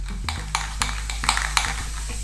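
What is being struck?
Metal aerosol spray can with mixing ball.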